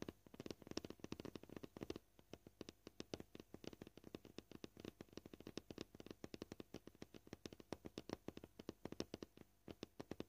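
Short purple-painted nails tap fast on a flat, solid, scratched white plastic cutting board. The result is a quiet, steady stream of dozens of short, dry clicks with a hollow low-mid body and little ring, coming in quick bursts that vary in pace.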